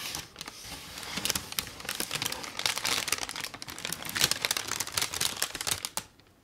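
A printed brown kraft paper gift bag, thin and hollow, is held in both hands and crumpled with the fingertips. It gives a dense, bright crinkling with many sharp crackles for about six seconds. The sound then stops abruptly.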